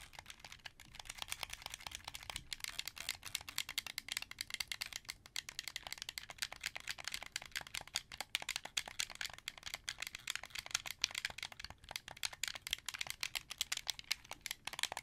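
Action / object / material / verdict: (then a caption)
tap / hand-held plastic game controller / plastic / none. Fingertips rapidly tap the buttons of a hollow, hand-held, translucent blue plastic Xbox 360 controller. The result is a dense, steady stream of short, bright plastic clicks, much like typing on a keyboard, with almost no low end and no ring after each click.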